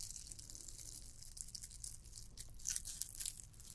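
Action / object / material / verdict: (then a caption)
scrape / glittered plastic candy cane ornament / plastic / none. Long nails scratch a red and white glittered plastic candy cane ornament, making a dense, bright scratchy crackle with sharper high-pitched scrapes toward the end over a faint low rumble.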